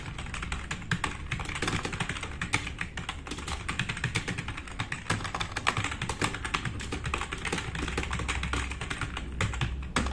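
Fast typing with the fingertips of both hands on a black, RGB-backlit, tenkeyless plastic mechanical keyboard with plastic keycaps, resting on a wooden desk. A dense, continuous stream of short, sharp clicky keystrokes runs for ten seconds over a steady low hum.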